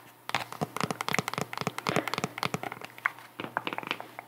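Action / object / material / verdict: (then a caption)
tap / cork wedge sandal with straps / cork / none. A white sandal with a cork wedge heel is held up close while long nails tap and scratch the cork sole and the straps. A dense run of sharp, dry clicks and scratchy crinkles follows in quick succession, bright and short with almost no ring.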